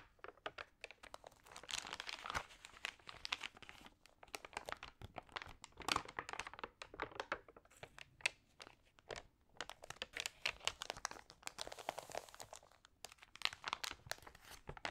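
Fingertips and long nails rub, scratch and turn the thin, slightly wet, wrinkled pages of an open glossy paper magazine. Dense, fast crinkling and crackling bursts come in waves, mostly bright and high with very little low end. The quick, dry crunches fade almost instantly.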